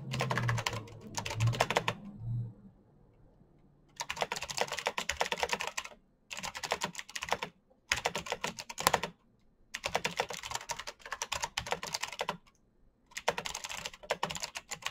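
Fingertips tap the keys of a black plastic mechanical keyboard with backlit keycaps in fast typing. Dense bursts of bright, crisp clicks run for a second or two at a time, broken by short silent pauses, with a few soft low thumps under the early keystrokes.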